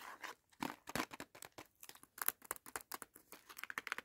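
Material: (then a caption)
Cardboard. A small Batman candy sticks box made of cardboard with a film window is tapped and rubbed by fingers and nails. The result is a quick run of dry, crinkly taps and scratchy rubs with bright, papery edges and almost no low end, each one dying away instantly.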